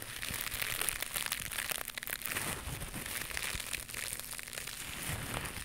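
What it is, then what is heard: Knitted mesh scrubber pad. A small, white, soft and flexible knitted mesh scrubber pad is held in both hands close to the mic and scratched and squeezed with long pink nails. It makes a steady, dense crinkling and crunchy scratching sound with bright, hissy highs. The texture stays even throughout, with no distinct separate hits.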